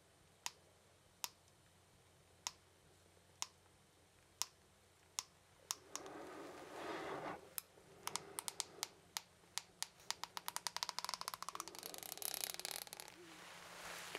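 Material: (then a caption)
Plastic. A small solid blue plastic comb is held in one hand while the fingertip and fingernail of the other strum and scratch its teeth. Seven sharp, bright, evenly spaced clicks come first, then a brief rising scratchy rasp. It ends in quicker clicks that crowd into a dense, crackling flurry.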